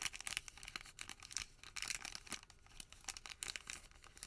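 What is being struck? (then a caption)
Folded thermal paper receipt. A folded white thermal paper receipt packet is squeezed, then pressed flat on the table with the palm. Quick, bright crinkles and papery rubbing crackle in irregular bursts, with almost no low end and no ringing after each crackle.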